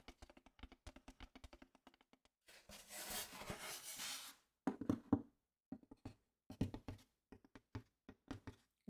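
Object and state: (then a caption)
Hollow wooden box. Fingertips tap a wooden box that once held two towels, giving quick, light, hollow knocks with a short ring. A steady run of taps is broken around the third second by a few seconds of broadband rustling before the tapping resumes. The box sounds very hollow.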